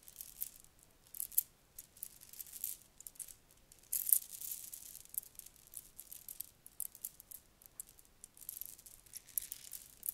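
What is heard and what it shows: A long strand of shiny red plastic beads is pulled through the fingers and piled into the palm. The beads rattle and clack together in quiet, bright bursts of dense, crisp clicking, with a sharper flurry around the middle and very little low end.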